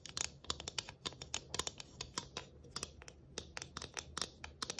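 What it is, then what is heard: Galvanized tin ornament. Long nails quickly scratch and tap a round galvanized tin Christmas ornament with tree cut-outs and a rivet-studded rim. The result is a rapid, uneven string of bright, crisp metallic ticks and scrapes, each dying away almost instantly, with little low end beneath a faint steady hiss.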